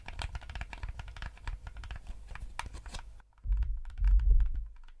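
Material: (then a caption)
Plastic. Fingertips rapidly click and tap the buttons of a yellow hollow plastic gamepad, producing a dense stream of sharp, bright plastic clicks for about three seconds. After a brief pause, the sound shifts to louder, duller low thumps and tapping with a deep bassy body that fades out at the end.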